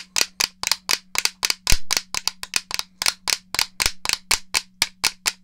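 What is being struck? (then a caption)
Plastic game controller. A hollow grey plastic N64 game controller is tapped with fingernails, giving 23 sharp, dry, bright clicks in a steady, quick rhythm with almost no ring. A faint, steady low hum runs underneath.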